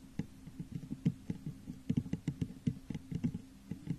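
Long nails and fingertips tap the sides of a medium-sized, hollow, textured clear glass vase that sits upside down over a microphone. The result is a quick, irregular patter of soft, muffled taps with a hollow low tone and almost no ring. Each tap is short, with little bright content.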